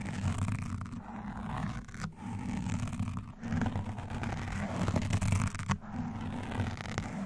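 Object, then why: Foam microphone windscreen. Gloved hands wearing pointed black nail rings scratch and tap a black foam windscreen on a microphone, alternating from both sides. The result is a continuous, dense, muffled scratching and thumping, heavy in low rumble with little brightness, broken only by a few brief dips.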